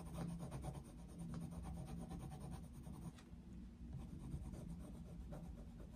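The tip of a coloured pencil scratches across the thin paper page of an open colouring book lying flat on a desk, in continuous shading strokes. A quiet, steady rubbing rasp with a low rumble underneath repeats stroke after stroke, easing briefly just after the midpoint before carrying on.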